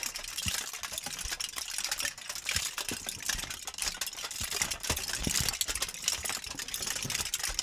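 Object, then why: Crumpled aluminum foil sheet. A thin, crumpled sheet of aluminum foil is crinkled and squeezed by gloved hands beside and above the microphone. The result is a steady, dense crackle of sharp, bright crinkles with little low end, with occasional louder snaps standing out from the continuous rustle.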